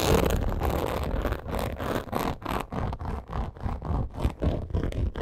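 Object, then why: Textured faux leather purse. Long acrylic nails rapidly scratch and tap a medium-size black textured faux crocodile leather purse. The result is a fast, uneven run of short, dull, scraping strokes with a heavy low rumble and little high-end sparkle.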